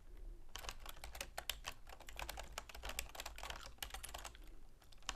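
Long manicured fingernails and fingertips rapidly tap the keys of a full-size black plastic keyboard with a silver plastic frame resting on a wooden desk. The result is a fast, uneven stream of short, bright plastic clicks with no ring, layered over a steady low hum.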